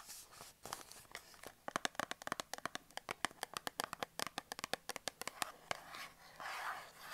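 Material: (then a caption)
Cardboard. A small closed printed cardboard Dettol 100g soap box with a soap bar inside, held in the hands, is tapped and scratched on its sides by long black acrylic nails. The result is a quiet series of sharp, dry, bright clicks that come in quick, uneven bursts, mixed with soft scratching rustles. There is almost no low end and no ring after each tap.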